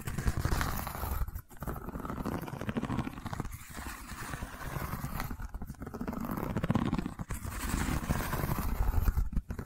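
Long nails scratch and tap along the weave of a long, cylindrical woven rattan or wicker tube held in hand. The result is a steady, dense scraping texture, heavy in the low end with a faint rumble, broken by a few brief quiet gaps.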